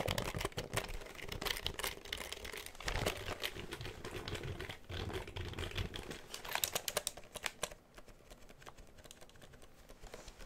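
A full-size black plastic computer keyboard is held up close in front of the microphone while its keys are pressed and tapped with the fingertips, and it is tilted and moved near the mic. The result is a dense stream of sharp, bright, quickly decaying plastic clicks mixed with low handling thumps and rumble. The tapping grows sparser and quieter after about eight seconds.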